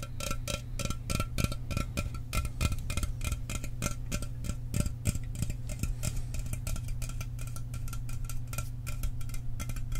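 A sealed, hollow 12 oz Mountain Dew aluminum soda can is tapped fast with fingernails and fingertips. A dense, steady stream of quick, dry clicks runs throughout, over a low hollow tone. Faint bright metallic ringing sits above it, and each tap dies away almost instantly.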